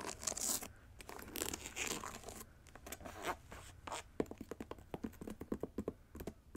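Long acrylic nails tap and scratch a hollow pink satin-like fabric boot with gold trim and large plastic rhinestone gems, held up in the air. The first few seconds are bright, dry scratching and rustling over the fabric and gems, then a run of quick, sharp clicky taps with almost no ring.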